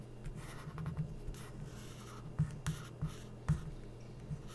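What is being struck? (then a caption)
Felt-tip marker on a glossy coated paper magazine page. A felt-tip permanent marker tip rubs and strokes across an open glossy magazine spread of thin coated paper while tracing. Soft, dull scratching and squeaking sits over a low, steady hum, broken by about seven short, sharper marks of the tip against the page. The sound stays quiet and close, with almost no ring after each stroke.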